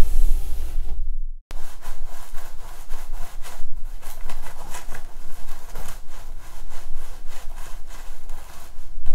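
Long nails and fingertips scratch and rub through the long, straight black synthetic hair of a wig on a mannequin head, working at the scalp and part in a massage motion. The result is a steady, dense, crackly rustling with bright scratchy bursts over a low rumble, broken by a brief silence just before the 1.5-second mark.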